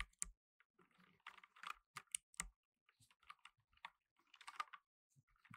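Fingertips in blue nitrile gloves rapidly press the plastic keycaps of a black plastic tenkeyless mechanical keyboard while typing. Quick, dry clicks and clacks come in uneven bursts, each bright and sharp with almost no ring. A little low thud sits under some strokes, and the overall level stays quiet.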